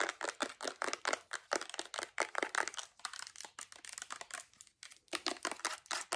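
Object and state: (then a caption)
Plastic lotion bottle. Long acrylic nails tap and scratch quickly on a full white plastic Bath & Body Works lotion bottle with a gold cap. The result is a rapid, uneven run of crisp, dry clicks and scratchy crinkling, bright with almost no low end, and each hit stops almost instantly.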